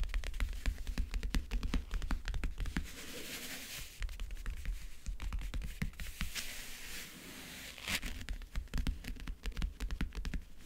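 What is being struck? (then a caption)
Closed backgammon case with a printed covering. Fingernails scratch and tap across the lid of a closed, hollow backgammon case with a map-print covering. Dense, quick taps and dry scratching rustles mix with a low, boomy thud from the hollow case.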